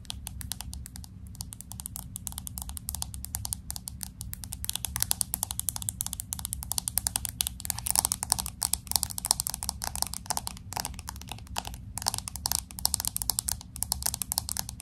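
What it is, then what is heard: Glass-back smartphone. Long acrylic nails tap and scratch rapidly on the glass back of a pink smartphone with an aluminum frame. The result is a dense stream of sharp, bright clicks with very short decay and scratchy bursts over a steady low hum.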